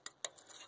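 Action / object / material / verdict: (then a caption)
tap / small sheet-metal access cover plate / sheet metal / none. Two sharp, bright metallic taps ring briefly on the small metal zerk fitting access cover under the bed of a 1948-53 Dodge truck. The taps show the cover is metal rather than a rubber grommet.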